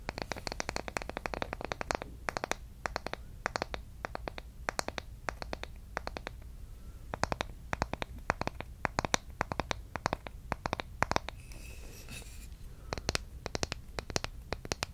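Long red nails scratch along the surface of a solid bamboo wooden spoon, held bowl-end up close to the microphone. Dense bursts of quick, dry, crackling scratches and ticks come in clusters with brief pauses between them. The sound is bright at the top, with a faint low rumble underneath.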